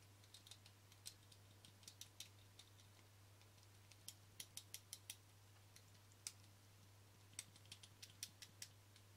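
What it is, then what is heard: Plastic camera lens cap. Fingernails tap the front face and rim of a small, flat black plastic Canon lens cap held in one hand. The taps come as short, sharp, bright clicks in irregular clusters, each dying away almost instantly, over a quiet steady low hum.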